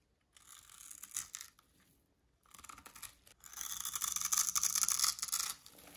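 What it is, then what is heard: Dry soap bar being scraped. A thin metal needle scratches and scores grid lines into the surface of a pink rectangular bar of dry solid soap held in the hand, with crumbs falling away. Dry, bright, hissy scrapes come in short bursts with pauses between them. They end in a longer, louder stretch of steady scratching.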